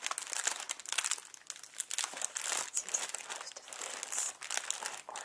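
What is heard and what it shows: A small inflated clear plastic packing air pillow with blue print, hollow and air-filled, is handled, squeezed and crinkled with fingers. Dense, bright crinkling and crackling fills the clip in rapid, uneven bursts, with almost no low end.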